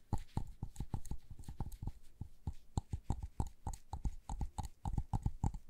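Long nails, on gloved hands, rapidly tap and scratch a small, hollow white LED light bulb with a frosted plastic dome. About 28 short, dry clicks follow one another over several seconds, each with a low knock, a hollow mid-range ping and a faint bright tick, and none of them rings on.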